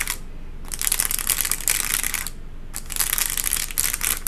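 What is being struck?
Textured paper liner in a cardboard box.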